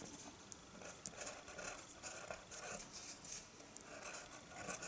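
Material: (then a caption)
Paper. The tip of a green-capped colored pencil draws lines across a flat sheet of white drawing paper resting on a wooden table. The result is a quiet, continuous bright scratching with soft swishing strokes and a few sharper ticks, with very little low end.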